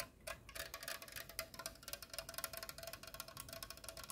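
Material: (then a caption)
Aluminum. A hollow pink aluminum soda can, held up close, is tapped and scratched with long painted nails. Fast, bright clicks and scrapes come in rapid bursts, with short ringing around 1.4 kHz and a faint metallic tone near 650 Hz.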